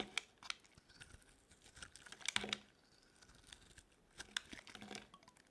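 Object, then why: Bar of soap cut with a metal blade. A metal blade cuts and scrapes broad shavings from a solid, dry green bar of soap held in the hand. The sound is quiet and bright: a crisp crackle of scraping, sharp clicks and brief tearing noises, with louder bursts in the middle and again near the end.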